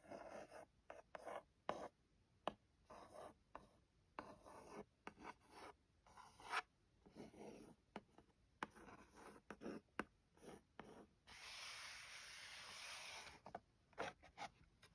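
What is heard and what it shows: Long nails scratch and trace over the lid of a closed, hollow white lettered cardboard phone case box. A series of short, dry, papery scratch strokes is heard, then a longer continuous rasping rub before the short strokes resume. The sound is quiet and mid-to-high pitched, with no ring after each stroke.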